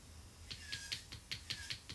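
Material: Acrylic.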